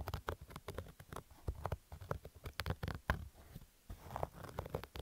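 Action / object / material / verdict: scrape / cotton-polyester baseball cap / cotton polyester / none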